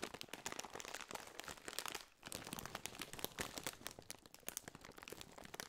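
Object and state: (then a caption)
Metallized plastic chip bag being crinkled. Fingertips scratch and crinkle a partly filled Doritos chip bag made of metallized, foil-lined plastic. The result is a quiet, continuous run of dense, bright crackles and crunchy rustles, with a brief lull around the two-second mark before the crinkling resumes.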